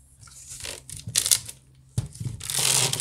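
Fingernails scratch quickly across the woven side of a large, hollow wicker basket. Bursts of bright, raspy scratching rise and fall with brief quiet gaps and a faint low thump underneath. The sound swells into a sustained, dense rasp toward the end.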